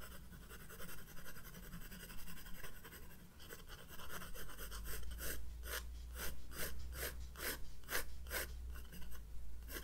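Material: Paper.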